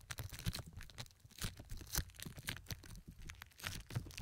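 Pink plastic film wrapped over both ears of a 3Dio Pro II binaural microphone is scratched and squeezed by long red fingernails on both hands. Close, dry crinkling and scratching comes in rapid, uneven bursts with bright hiss and soft low thumps, with no pause throughout.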